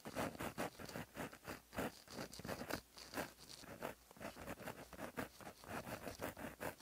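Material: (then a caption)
Paper. A plastic-barrel gel pen with a metal tip, held in the fingers, writes across a flat black lined paper notebook page lying as a solid sheet on a surface. The tip scratches along the paper in quick, dry strokes, giving a busy, rhythmic scratching patter with brief pauses between words.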